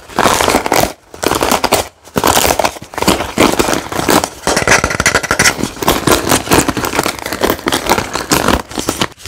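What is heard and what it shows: Fingertips and nails rapidly scratch and flick the many wooden bristle pins of a wooden paddle hairbrush, the pins set in a white cushion and held close. It makes a dense, crackling run of fast, dry clicks and scratches in continuous bursts, with short gaps near the first and second seconds.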